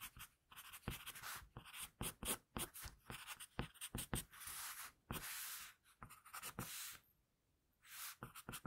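An HB wooden pencil held in the hand sketches and scratches graphite lines across a flat sheet of drawing paper on a table. A quick run of short, dry strokes and longer rasping scratches gives a bright, papery hiss, with a brief quiet pause before the strokes resume near the end.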